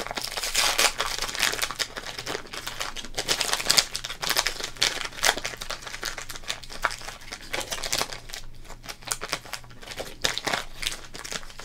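Fingertips crinkle and rub a small, flattened Topps trading card pack in a thin, printed plastic wrapper. Dense, bright crackling bursts come in quick, uneven waves, mostly high with little low end, over a faint steady low hum.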